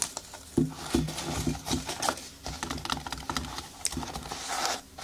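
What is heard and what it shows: Long nails scratch and rub across the synthetic upper of a single blue children's sneaker with a foam sole, hollow and empty, resting on a table. A quick patter of soft scratchy taps and crinkly rubs with a hollow, low body and bright hiss edges, each stroke dying away almost at once.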